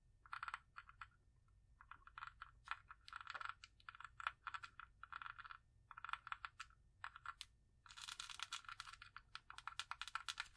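Long acrylic nails tap and scratch the ornate, embossed metal-look lid of a small, round, hollow cosmetic jar held in one hand. Bursts of quick, clicky taps and light scratches come in clusters, bright and dry with almost no ring, centered around 1.4 kHz. The last few seconds bring a denser, steadier run of scratching.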